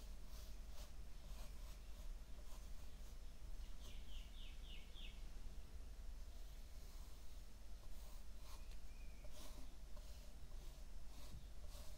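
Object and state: Nothing is struck.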